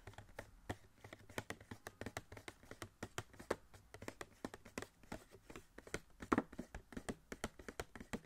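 Fingertips tap rapidly on a small, hollow cardboard Funko Pop box with a clear plastic window and a Wasp figure inside. Dozens of short, dry taps with a hollow low-mid thump die away almost instantly, with little bright content.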